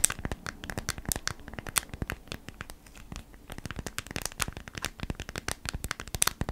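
Long nails rapidly scratch and tap the stiff surface of a folded beeswax-coated cotton food wrap held in both hands. The result is a dense stream of dry, crackly crinkles and sharp, bright clicks that die away instantly, rising and falling in quick bursts throughout.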